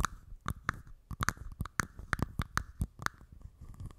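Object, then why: Small plastic cup. A small, empty, hollow, transparent plastic cup, first resting on a mic top and then held up, is tapped and scratched with long red nails. The result is a rapid series of sharp, dry clicks with almost no ring, over a faint scratchy rustle. Each click carries a thumpy low end and a hollow tone around 1.2 kHz.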